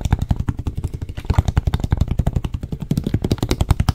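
Fingertips and nails tap fast on the blue cap and label area of a clear plastic water bottle held in one hand. A rapid, steady run of about 34 short, dull taps, each low and thumping with almost no brightness, dies away almost instantly.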